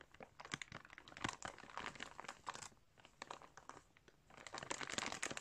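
Fingers pinch the plastic of a clear plastic bag filled with yarn while a flat hand presses and rubs it. The result is quiet, bright, dense crinkling in irregular bursts, with brief lulls near the middle and a fuller, busier stretch at the end.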